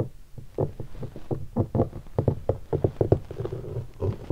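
Fingertips tap a hollow guitar hard case covered in black leatherette and stickers, striking it in several spots. The result is a quick, uneven series of dull, low, hollow knocks with almost no bright content, each dying away almost at once.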